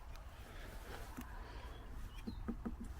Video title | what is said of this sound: Driffield to Selby Railway (disused) Part 13 Holme Moor to Foggathorpe | It sounds hollow.